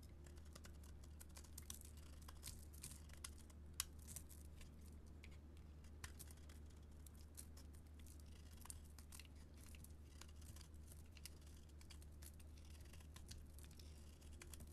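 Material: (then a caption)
Soap. A metal blade carves and scrapes curled shavings off a solid green and gold bar of soap held in the hand. Quiet, dense crisp scraping and crinkling ticks with a few sharper clicks run over a steady low hum throughout.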